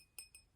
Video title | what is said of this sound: Antiques buying trip lot roundup. Japanese, Danish, English antiques etc. U.K treasure hunter. | Rings like a bell